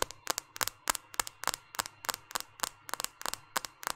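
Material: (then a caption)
Glass, plastic. Long painted fingernails tap and scratch the glass screen and plastic-framed edges of a small, solid white smartphone held up in one hand. About nineteen crisp, bright clicks come in a quick, slightly uneven rhythm, each dying away instantly, with faint scratchy texture between them.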